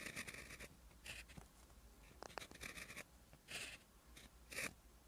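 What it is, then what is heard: Pen writing on notebook paper. A clear plastic gel pen, held in the fingertips, is drawn in continuous writing strokes across a lined white page of a spiral-bound notebook lying flat. Bright, dry scratching bursts rise and fall with each stroke, with brief soft taps between them over a low, steady background hum.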